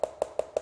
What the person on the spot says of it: knock on your flooring and listen for a hollow sound. That can mean water is trapped under the floors